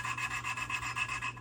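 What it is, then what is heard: Rough valve seat during lapping. A steel engine valve is twisted with lapping compound against its seat in a 2002 LS430 cylinder head, making a harsh, pulsing, high-pitched rubbing rasp over a steady low hum. The rough grinding shows the metal-to-metal contact of the valve seat is still rough.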